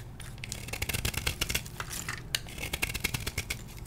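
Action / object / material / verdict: scrape / gym chalk block / chalk / none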